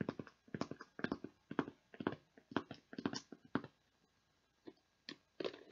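Long nails tap the lid and sides of a clear, hollow plastic tub with a plastic lid, partly full of beads. About twenty quick, short, dry clicks come in irregular bursts with a mid-low hollow body, then pause briefly before a few final taps.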